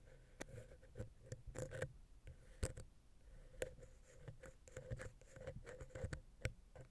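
A wooden ear pick scratches the side of a silver metal XY stereo microphone capsule on a Zoom H6 recorder, then moves to the center. The result is a quiet run of close, dry scratches and soft taps with a low, thumpy body and a faint hollow ring around 500 Hz.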